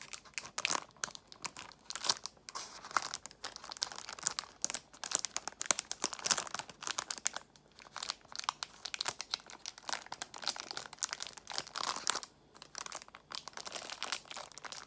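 A clear plastic box filled with nail tips, still in its cellophane wrap, is squeezed and tapped with long nails. Dense, bright crinkling and crackling fills the clip, with sharp clicking taps and almost no low end. Short bursts come and go in quick, uneven clusters.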